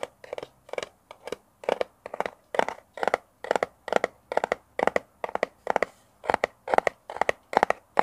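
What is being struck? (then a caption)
Kraft cardboard box. A small, hollow brown kraft cardboard box with a round sticker on one face is held in the hands and scratched and tapped with fingernails close to a mini mic. The result is a steady, rhythmic run of short, dry scratchy bursts centered in the midrange with bright edges, each cutting off almost instantly with no low rumble.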